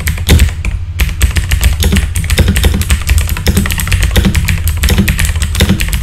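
Fingertips type rapidly on a full-size backlit mechanical keyboard with plastic keycaps. A steady stream of quick, short clacks carries a heavy low thump under bright clicking tops.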